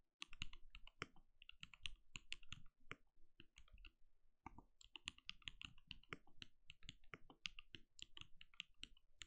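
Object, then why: Plastic mechanical keyboard. A compact backlit mechanical keyboard with plastic keycaps and a translucent glowing case is typed on with the fingertips of both hands in rapid key taps. The sound is dense, dry clicking with bright, high clack tops over a low, muted thud, each keystroke dying away almost instantly. A brief pause near the middle splits the typing into two quick bursts.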